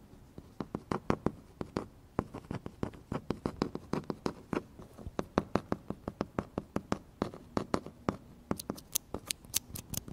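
A thin, flat, plastic-laminated paper notice taped to a wall is scratched and tapped across its glossy surface by fingertips and nails. Rapid, dry, clicky taps with very short ring come in a steady stream. Near the end they grow brighter and sharper.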